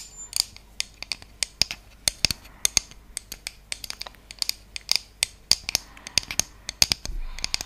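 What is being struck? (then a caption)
Thin wooden trivet. Long painted fingernails scratch and tap a round, flat, thin, solid wooden (bamboo-like) trivet with decorative cutouts and a centre hole, held in both hands. About 33 sharp, dry clicks and taps ring out unevenly over soft scratching, almost all bright, high-pitched sound that dies away instantly. A longer, rougher scrape comes near the end.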